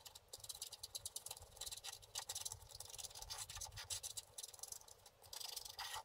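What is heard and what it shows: A wooden stylus rubs and scratches the coating of a flat, solid, book-page-sized scratch-art paper board along the dragon's back. The result is a quiet, bright, dry scratching made of rapid short strokes in uneven bursts, with very little low end.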